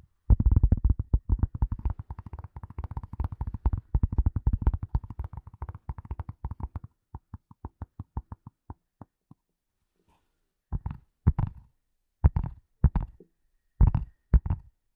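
Long nails tap and scratch along the top of a flat, hollow grey leather glasses case held horizontally. Rapid, dull, low-pitched taps run densely for about seven seconds, then thin out and stop near nine seconds. After a short pause, several brief clusters of taps follow, each dying away at once with no ring.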